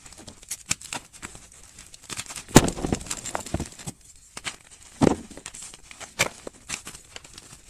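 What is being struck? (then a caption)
Block of gym chalk and loose chalk powder. A white solid gym chalk block and its broken chunks sit in loose powder as fingers squeeze and crumble the pieces, crushing them into powder. Dry, crisp crunches and crackles come in short bursts, with the loudest crush around two and a half seconds and another near five seconds, followed by softer crumbling.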